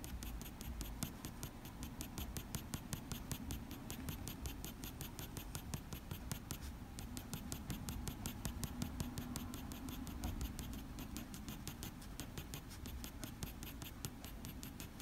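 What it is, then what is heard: Pencil drawing on paper. A black wooden graphite pencil makes quick strokes on a sheet of drawing paper, shading the top of a drawn head. The result is a fast, steady run of short, dry scratches over a low, soft rustle, with faint high hiss on each stroke, all at a quiet level.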